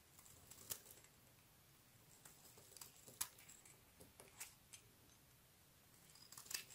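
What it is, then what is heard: Bar of soap being carved. A utility knife blade shaves and carves the edges of a solid, palm-sized white bar of soap held in one hand, and curls of soap fall onto a grey surface. Quiet, bright, crisp scraping and clicking cuts come at an irregular pace over a soft background hiss, each one dying away almost instantly.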